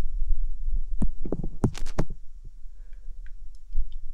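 Fingertips with long painted nails rub and tap over both white silicone ear replicas on the round housing of a binaural microphone. The result is muffled, deep thumps and rumbling rubs, with a few faint, bright clicks from the nails near the end.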